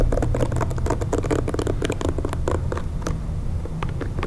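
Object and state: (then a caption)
Plastic hair brush. Fingertips and nails tap and scratch the plastic bristle pad and shell of a pink plastic hair brush held in one hand. Quick, dry clicks and scratchy patters follow one another in a busy run over a steady low rumble. The taps are short and bright, with almost no ring after each one.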